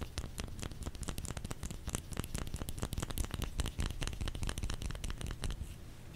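Fingers tap rapidly and unevenly on a solid bar of soap. Each tap is a short, dry tick with a dull low thump underneath and a faint bright click on top. The tapping runs as a steady, dense patter throughout.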